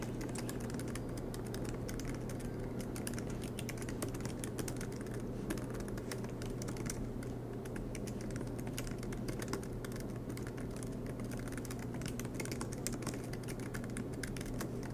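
Both hands type continuously with their fingertips on the black plastic low-profile keys of a MacBook Pro laptop with a silver aluminum body, which rests on a green desk mat. Rapid, light key taps patter steadily over a constant low hum.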